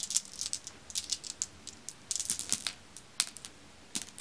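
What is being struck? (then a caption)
Pile of glass marbles. A handful of solid, dark, glossy glass marbles is scooped up and poured from the palm back onto a pile of dark glass marbles. They clack together in quick, irregular bursts of sharp, bright clicks with almost no low end, each tap dying away almost at once.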